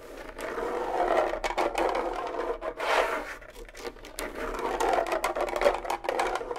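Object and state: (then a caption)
Rawhide bongo drum heads scratched. Fingernails scratch and scrape the hide heads of a pair of small, hollow rawhide bongo drums. The result is a steady, dry scratching with a midrange hum around 570 Hz, swelling and fading in waves and dotted with brief, bright flicks of the nails.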